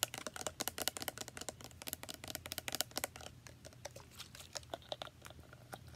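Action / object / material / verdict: tap / plastic spray bottle / plastic / none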